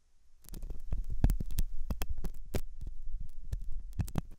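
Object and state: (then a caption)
Silicone ear model being scratched. A hooked metal dental tool scratches inside the ear canal of a white translucent soft solid silicone ear model, likely mounted on a binaural ear microphone. The sound is close, low, muffled scraping and thumping with irregular sharp clicks and crackles. It is dominated by deep rumble, with occasional bright transient spikes.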